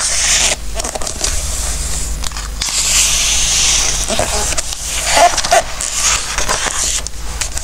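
A palm and fingertips rub across the coated pages of an open glossy-paper recipe book, then turn a page. A steady, bright swishing hiss runs throughout over a faint low hum, with a few crisp paper crackles near the end as the page turns.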